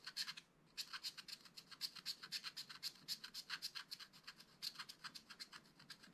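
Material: Coated card.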